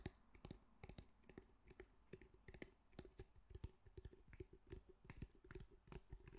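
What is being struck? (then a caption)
Fabric-covered cylindrical speaker. A medium grey cylindrical speaker with a fabric mesh cover and a solid body is held in both hands and tapped and scratched with fingertips and nails. The result is a quiet, irregular stream of quick, dry taps and clicks with a dull low thud and almost no ring, between soft scratchy rustles.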